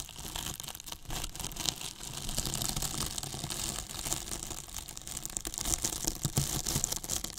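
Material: Polyethylene foam.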